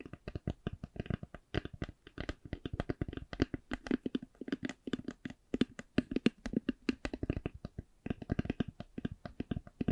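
An eyeglass case is tapped slowly, producing a steady run of short, dull taps with a low, muted tone and almost no ring. The taps vary in loudness and come in uneven clusters, with little high-frequency content.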